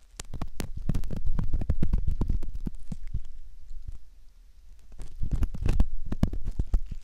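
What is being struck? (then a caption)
Soft silicone ear model scraped with a metal ear pick. A metal ear pick scrapes the canal opening of a soft silicone ear model, making a dense run of close, muffled scratching clicks and low thumps. The scraping is quick and uneven, eases off briefly around the middle, then picks back up just as busily.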